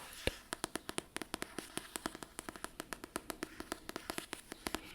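Fingertips tap on books in a quick, steady series of short, dry clicks, each dying away almost instantly. The taps are crisp and bright with a faint hollow body, set against a quiet background hiss.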